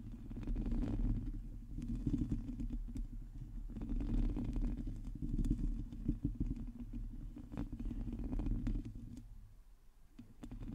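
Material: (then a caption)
Metal mesh. Long teal nails of both hands scratch the hollow metal mesh grille of a black microphone, producing a dense, irregular stream of rough scratching and tapping. The sound is heavy and low, swelling and fading in waves, with faint brief clicks riding on top.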